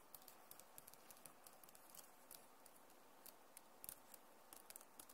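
Fingers type and scratch with their nails across the plastic keys of a backlit Acer laptop keyboard, using both hands. Soft, steady scratching runs underneath scattered sharp, bright key clicks that die away almost instantly. The whole clip stays quiet.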